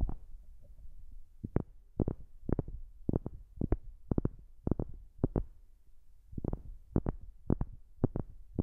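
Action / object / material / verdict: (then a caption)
tap / wooden object / wood / none. A wooden object is tapped close to a new microphone in 26 short, dull knocks, often in quick pairs. Each tap is a deep, soft thump that dies away at once with no ring, between quiet pauses.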